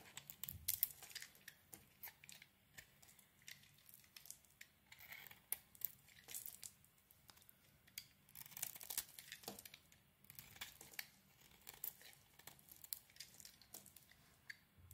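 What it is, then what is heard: Bar of soap being shaved. A solid yellow oval bar of soap, held in the hand, is shaved with a metal blade so that soap flakes fall off. The result is a quiet series of short, dry, bright scraping and crackling strokes with a crisp, tearing texture. Each stroke stops abruptly with no ring.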